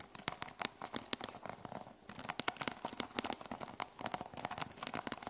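Long nails rapidly scratch and tap the teal plastic sequin cover of a small notebook resting on a wooden table. A dense run of crisp, bright clicks and crinkly scratching rustles, with very short decays and almost no low end, continues throughout, pausing briefly near the middle.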